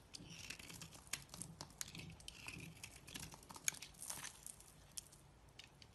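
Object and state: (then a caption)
Bar of soap being shaved. A knife blade scrapes and shaves a solid, palm-sized, beige oval bar of soap held in one hand, with crumbs falling onto a pile of shavings. The sound is quiet, dry and crackly: a stream of bright, crisp scratches and quick ticks with almost no ring.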